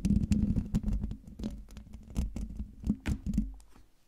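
Long dark fingernails scratch and tap across the hollow metal mesh grille of a silver microphone, up close. The result is an irregular run of dull, low, boomy scratches and patters with a faint steady hum underneath, each burst dying away quickly.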